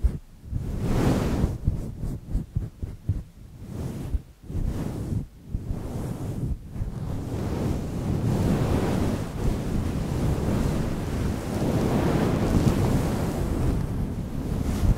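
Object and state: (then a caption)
Fur microphone windscreen being scratched. Fingertips scratch and rub a fluffy grey faux-fur windscreen on a microphone, working over the top and sides. The result is a deep, rumbling rush like wind or surf. It opens with quick bursts of scratching and then settles into a steady, continuous roar.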